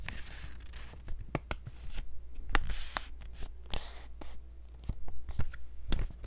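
A few folded white paper sheets held in the hands are handled and scratched with long nails. Crisp, dry rustles and scratches are punctuated by sharp, bright clicks and ticks, over a steady low hum.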